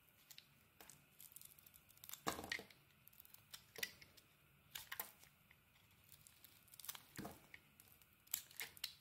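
An oval, palm-sized solid white Balea soap bar with a purple polka-dot coating is held in the hand and shaved with a utility knife blade. Quiet, crisp scraping and carving strokes come in bright, dry bursts, some sharp and brief, others longer and rasping like tearing. The sound is thin with little low end, and each stroke stops almost at once with no ring.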